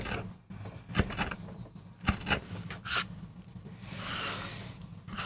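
A metal gouge carves and scrapes fine lines into the surface of a small, flat, solid MDF board. Dry, scratchy scrapes are broken by sharp, bright clicks at irregular intervals, with a longer hissing rasp near the end. A faint low hum runs underneath throughout.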